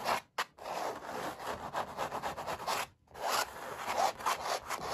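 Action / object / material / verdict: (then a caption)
scrape / stretched canvas with thick oil paint / canvas / none. Both hands, one wearing a metal ring, quickly scratch and rub a stretched canvas oil painting with thick textured paint, its taut surface over a hollow frame, using short nails and fingertips. A dense, papery scratching and rubbing hiss sits mostly in the midrange with brighter edges. It breaks off briefly just before half a second and again near three seconds, then resumes in quick strokes.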